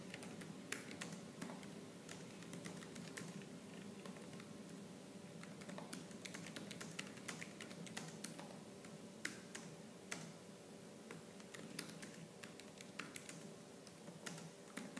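Fast, aggressive typing on a laptop keyboard with black plastic keys, struck with fingertips and nails. A continuous stream of sharp, bright clicks and clacks runs throughout, with sharper accents standing out over a steady low hum.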